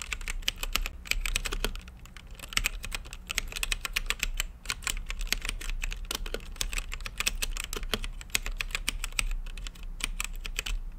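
Fingertips type steadily on a mechanical keyboard with plastic keycaps and a translucent lit case, producing a fast, uneven stream of sharp, bright clacks that stop almost instantly. A constant low hum sits underneath the clicking throughout.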